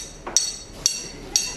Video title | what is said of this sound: The Science of a Perfect Guiness Pint | when you leave it alone for a while in that the glass turns back into a glass